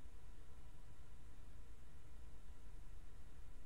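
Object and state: Nothing is struck.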